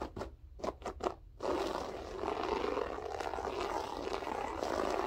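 Long nails scratch with spread fingers across a grey loop-pile berber carpet floor. A few short, separate rasping strokes come first, then the scratching turns into a steady, dense crackling scrape that runs to the end.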